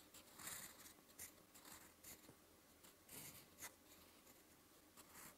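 A metal fountain pen nib with blue ink scratches slow writing strokes across a lined white paper notebook page. Soft, bright, dry scraping bursts rise and fall in short strokes with brief pauses between them, over a faint low background.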